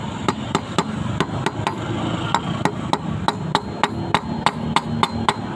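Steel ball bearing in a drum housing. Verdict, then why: Seated. A steel 6205 outer ball bearing is hammered around its edges into the drum housing of a 15 kg LG washing machine, giving 17 short, heavy, dull knocks that die away almost instantly. The heavy, non-ringing sound shows the bearing is flush and fully seated in its housing.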